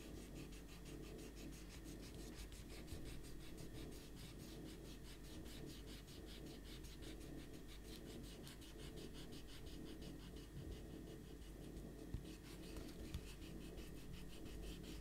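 A rubber eraser is rubbed back and forth across a pencil drawing on a stack of thin white printer paper lying flat on a white table, one hand holding the sheets steady. Quiet, steady scratchy rubbing continues throughout over a low background hum, with fast regular bright strokes.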